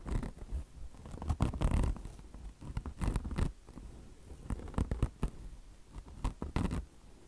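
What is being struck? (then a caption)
Mesh-covered microfiber car wash sponge. A mesh-covered microfiber car wash sponge resting on marble is scratched across its mesh top by long blue nails using both hands. The sound is a series of short, irregular, dry scratching bursts that are mostly low and thumpy, with faint brighter hiss, swelling louder in clusters around the middle and near the end.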